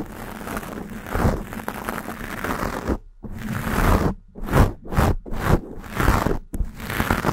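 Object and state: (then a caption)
Foam microphone windscreen being scratched. Long acrylic nails scratch a black foam windscreen on a Blue Yeti microphone from both sides. The result is a dense, crackly rustling scrape that runs steadily at first, then breaks into separate, swelling strokes with brief silences between them.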